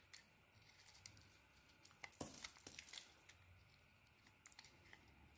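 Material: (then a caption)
Soap. A blade carves into a solid bar of soap held in the hand, its purple coating over a cream interior, making quiet, crisp scraping and crackling clicks. The short, bright cuts come in scattered bursts, thickening into a denser run of shaving sounds midway before easing back to sparse clicks.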